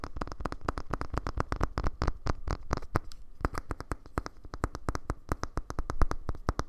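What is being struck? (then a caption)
Small hollow plastic speaker body. Fingernails tap rapidly on the hollow plastic body of a small black cylindrical Bluetooth speaker held upright in both hands. The quick, dry clicks each carry a low, hollow thump and die away almost instantly, with a brief lull just after the three-second mark before the steady tapping resumes.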